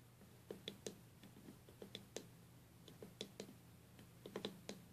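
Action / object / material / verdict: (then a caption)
tap / stained glass box / glass / none. Long nails tap on the glass lid of a stained glass box resting on a table, after hands first touch its sides. The result is a scattered series of short, sharp, bright clicks with a brief glassy ring, over a quiet, steady low hum.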